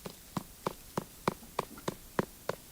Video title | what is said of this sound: Return to Eden (2020) With English subtitles where different languages are spoken | do you hear that Hollow sound